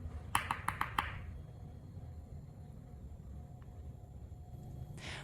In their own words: Khi đông lạnh, cà chua sẽ trở nên cứng hoàn toàn. Bạn có thể nghe thấy âm thanh giòn, cứng khi gõ chúng vào nhau.